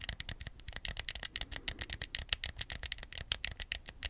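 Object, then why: Hard plastic game remote. A small, hollow white hard-plastic Wii remote is held close to the mic while its buttons are clicked, then held in both hands and tapped with the fingertips. The result is a rapid, uneven series of short, dry, bright clicks and taps centered near 3 kHz that stop almost instantly with no ring, over a faint low rumble.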